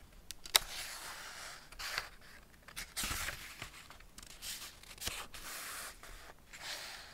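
Hands turn the paper pages of an open Ladybird hardback picture book, *Man and His Car*, and rub them with fingertips. A sharp paper snap comes early, followed by soft, bright swishes and dry scrapes as the pages are brushed and flipped.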